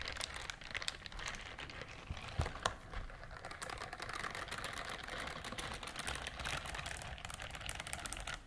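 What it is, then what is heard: Silicone scrubber glove scratched. Long nails scratch across the bristles of a pink silicone scrubber glove, making a dense, steady run of quick, dry ticks and crinkly scratching with a bright edge. Two slightly louder taps stand out a little before the three-second mark, and then the fine scratching carries on evenly to the end.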